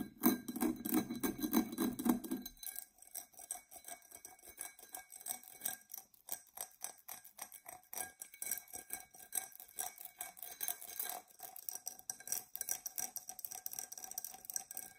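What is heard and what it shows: Long nails scratch and handle a tall, dark purple, embossed tinted glass tumbler that is hollow and empty. A dense, fuller scratching opens the clip for about two and a half seconds. It then gives way to a quick, uneven run of light, dry clicks and scrapes with a faint bright glassy shimmer.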